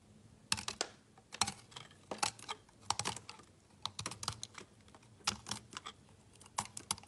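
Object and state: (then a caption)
Bar soap being cut and scraped. A utility knife chops and scrapes crumbs off a small solid piece of layered pink, purple and orange bar soap held in the fingers. The result is a quick, irregular series of crisp, bright clicks and crunches, each dying away almost at once, with brief gaps between the bursts.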